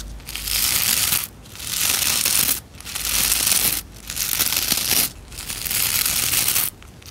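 Nails and fingertips rub and scratch the stiff bristles of a white plastic scrub brush. Five long strokes of bright, dense, hissy scratching are each separated by a brief quiet pause.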